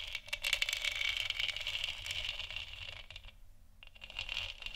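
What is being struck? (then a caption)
Textured hollow plastic lamp sphere. Long nails scratch and tap a large, hollow, textured plastic moon lamp sphere. They make a quick run of bright, dry ticks and scratchy rasps that pause briefly near the middle. The sound then resumes with more scratching.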